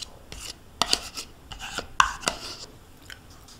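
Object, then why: Thin plastic yogurt cup and metal spoon. A metal spoon scrapes the inside walls and bottom of a small, thin-walled plastic yogurt cup, nearly empty with yogurt residue and held tilted in one hand. It makes a series of short, bright scraping strokes and sharp plastic clicks with a papery high hiss and very little low end. Each stroke stops almost at once, with quiet gaps between them.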